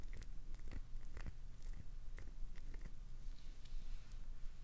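Long nails scratch and dig into the face of a solid translucent green glycerin soap bar held in both hands, gouging shavings loose. Short, dry crunching scrapes come in quick, irregular bursts over a low, steady rumble, and each burst ends almost instantly.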